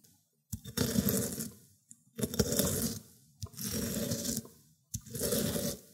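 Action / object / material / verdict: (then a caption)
scrape / cucumber on ceramic grater plate / cucumber / none. A cucumber end is rubbed over the teeth of a ceramic grater plate, through wet green pulp. Four separate grating strokes come about a second long each, with short pauses between. Each one is a wet, scraping rasp with a low rumble under a bright, hissy top.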